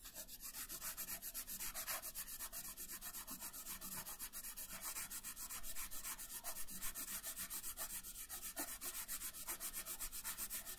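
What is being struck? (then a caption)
Colored pencil on thin paper over a wooden table. A colored pencil shades a thin paper coloring page resting on a wooden table, making quick, uneven back-and-forth rubbing strokes. Each stroke gives a soft, bright, papery scratch over a faint low rumble, continuing steadily and quietly throughout.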